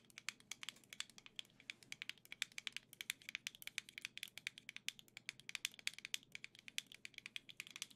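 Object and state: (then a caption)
Plastic controller grip, hollow shell. Long nails rapidly tap across the surface of a black and gold plastic Nintendo Switch Joy-Con grip with a hollow shell. Quick, crisp, bright clicks come in a steady, uneven stream over the full eight seconds. Each tap is dry and dies away at once, and the whole thing sits at a quiet, faint level with no low-end body.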